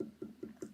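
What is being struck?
Trimmed clay bowl.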